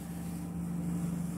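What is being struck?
Nothing is struck.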